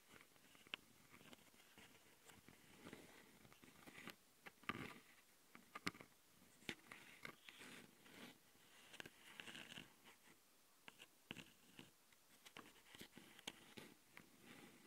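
Long glitter nails scratch the metal mesh grille microphone capsules on the plastic body of a Tascam handheld recorder, then one hand scratches only the left capsule. A quiet, steady run of bright, crisp scratches and sharp little clicks, like a zipper or crunching, rises and falls close to the microphone.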